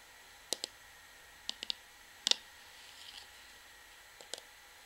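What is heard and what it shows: An orange plastic shampoo bottle, held at an angle, is tapped with long nails on its front and on its back label. Sharp, bright clicks come in short clusters of two or three, with brief soft scratchy rustling between them and a quiet background hiss.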